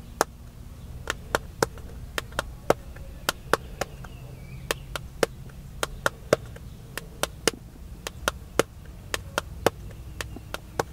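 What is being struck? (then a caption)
Smartphone in plastic case. Fingertips tap the screen and black plastic case of a solid, hand-sized smartphone held flat in one hand at chest height inside a car. About 28 short, sharp clicks sound at an irregular pace, each dying away almost instantly over a low, steady rumble.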